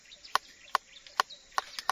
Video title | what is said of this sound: cara memilih alpukat yang tua. panen alpukat pangeran di Maninjau kab Agam Sumbar | Bunyinya duk, dia sudah tua.